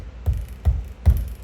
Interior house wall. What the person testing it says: that sounds Hollow to me